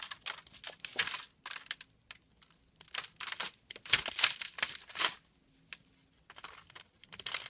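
A solid brown branded bar of soap is held in the hand while a small blade scrapes flakes from its edge. The result is a run of dry, bright crinkling scrapes that come in bursts with short quiet gaps, all high-pitched and without low rumble.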